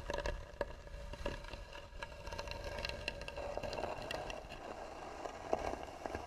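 Long natural nails scratch slowly and hard across the flat lid of a closed, hollow, tan wooden box with a carved edge. The result is a steady, dry scraping texture with frequent small clicks and ticks, a faint resonant tone in the midrange, and a soft low rumble underneath.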